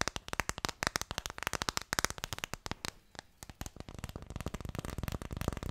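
Fast fingertip tapping on an Ideal of Sweden phone case makes dozens of sharp, dry clicks with broad, bright tone and almost no ring. The taps run in a steady rapid stream, thin out briefly around the three-second mark, then resume just as quickly.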